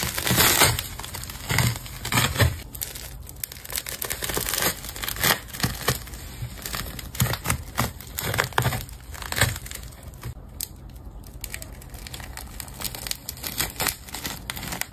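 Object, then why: Large ball of layered plastic tape. A metal craft knife cuts through a large, multicolored solid ball of layered plastic tape. Dense crinkling and crushing crackles come in bright bursts over a low thudding undertone, with short pauses between strokes.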